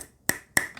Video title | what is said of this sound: 3분 새총 만들기!! 주변에서 흔하게 볼 수 있는 재료로 위력적인 새총을 만들어보자! | 페트병이 굉장히 딱딱한 소리 들어보세요